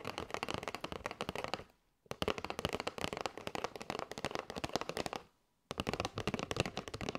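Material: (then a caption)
Cardboard. Long nails tap rapidly on the top edge and face of a flat kraft cardboard box with a clear window, full of paper straws. Dense bursts of short, dry, crackling clicks are broken by two brief silences. Each tap is crisp with almost no ring.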